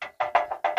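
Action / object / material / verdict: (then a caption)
knock / steel car front bumper / steel / solid. Six sharp knocks on the solid steel front bumper of a 1999 Daihatsu Taft Rocky, each a short, hard tap with a midrange tone around 700 Hz that dies away quickly. The bumper sounds solid, not crumbly or rusted through.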